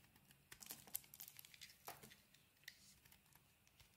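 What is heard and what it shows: A solid oval cream soap bar with a green coating is held in the hand and shaved with a small metal blade. The result is quiet, crisp, bright scraping and crinkling in short, irregular bursts, each dying away almost instantly.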